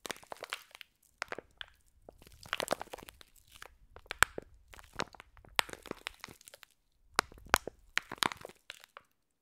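Long nails squeeze and crunch a clear plastic pack of green foam bead slime. Dry, bright crackling and crinkling comes in irregular bursts of sharp crunches, with brief silent pauses between squeezes and almost no low end.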